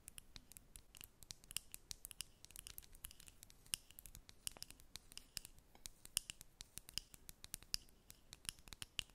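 Long red nails scratch and tap a small, clear plastic Maybelline Lifter lip gloss tube with a square cap, filled with gloss and held in the hands. The result is a quiet, rapid series of crisp, high-pitched clicks and dry scratches that stop instantly with no ring.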